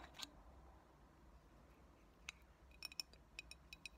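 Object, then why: Glass bottle. A medium clear glass cold brew coffee bottle with a paper "Coldbrew Coffee" label, hollow and mostly empty, is tapped and scratched with long natural fingernails. Ten sharp, bright glassy ticks stand out, spaced apart at first and then clustering near the end, each dying away almost instantly over a quiet, faint scratchy hiss.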